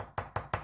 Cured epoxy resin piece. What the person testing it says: si je tape, vous entendez bien, c'est dur, ça ne casse pas